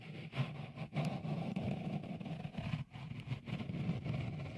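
Fingertips rub a small, hollow, white dimpled cover, likely silicone, fitted over the left capsule of a Tascam recorder. The result is a continuous, dense, low rumbling scrape, weighted toward the bottom end, with only brief dips in loudness as the rubbing strokes change.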